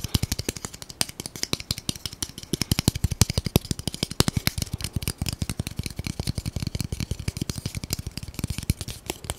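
A long, solid, light-colored wooden (bamboo-like) spatula, held horizontally, is tapped rapidly along its length with the fingertips of both hands. The result is a fast, irregular stream of short, dry knocks with a low, woody thump and bright clicky tops, each dying away almost instantly.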